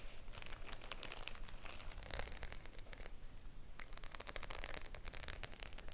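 Long nails tap and scratch across the rows of metal studs on a flat white faux-leather clutch bag, likely empty, held up in both hands. The result is a quiet, irregular run of quick, bright clicks and dry scratchy scrapes with no ring, growing busier toward the end.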